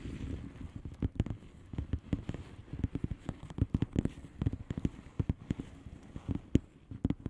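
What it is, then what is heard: Plastic bubble wrap mailer. Long painted nails of both hands tap and scratch the bubbles of a blue plastic bubble wrap mailer lying flat. Quick, irregular taps land as short, dull, low thuds with sharp clicks on top, over a soft scratchy rustle between them. The sound is quiet, close and muffled, with nothing bright or ringing.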